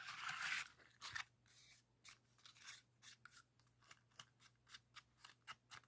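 A rainbow heart-shaped origami pop-it made of folded colored paper in red, orange, yellow and green has its hollow paper bubbles pressed and popped with fingertips. A brief crinkly paper rustle opens, followed by a steady series of about sixteen short, crisp, bright papery pops with almost no low end.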